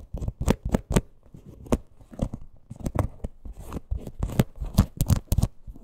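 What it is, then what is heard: Faux leather purse scratched and tapped. Long acrylic nails scratch and tap the front of a small, hollow teal faux-leather crossbody purse with a stitched leather parrot appliqué, held upright. The result is a quick run of dull, low thumps with short, papery scratching in between, each tap dying away almost at once.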